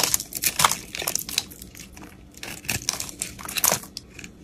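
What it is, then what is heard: Soap bar being carved. A utility knife blade scrapes and carves chunks out of the crumbly surface of a solid, round, pink-speckled, palm-sized soap bar held in the hand. Dry, bright crunching and crackling scrapes come in quick irregular bursts, with little low end. The cuts fade quickly between strokes.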